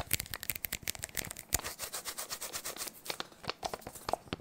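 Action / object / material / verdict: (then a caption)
scrape / sticky paper lint roller / adhesive paper / none. A handheld adhesive lint roller with a blue plastic handle and a white sticky paper roll is held close to the microphone and pressed and rolled quickly against the fingers and palm. It gives a fast, dense series of bright, crackly peeling and tearing sounds as the sticky paper pulls away from the skin.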